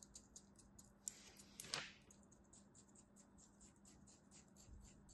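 A palm-sized, solid, compacted block of beige kinetic sand rests in an open hand while a thin blade, then the tips of a pair of scissors, scratch and score it in parallel lines. Quiet, crunchy, crumbly scraping ticks come through bright and dry, with one longer, louder scrape in the middle. A faint steady low hum runs underneath throughout.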